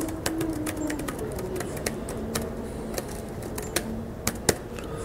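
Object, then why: Plastic laptop keyboard keys. Fingertips of both hands tap rapidly on the plastic keys of an open laptop keyboard resting on a metal mesh picnic table in an outdoor pavilion, with a microphone nearby left untouched. Quick, dry clicks with very short decay rise over a steady, hushed background hiss, with a few sharper, brighter taps standing out.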